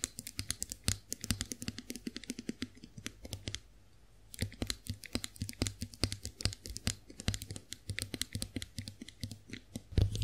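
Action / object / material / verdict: tap / chrome-finished metal face roller / chrome metal / none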